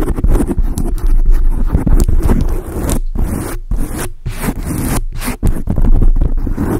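Long acrylic nail tips scratch a large dark grey foam windscreen on a microphone. The result is a dense, irregular run of rough, scraping strokes, with boomy low-end rumble and bright, crackly edges. A few brief gaps of near-silence break up the steady scratching.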